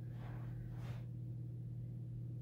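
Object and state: Nothing is struck.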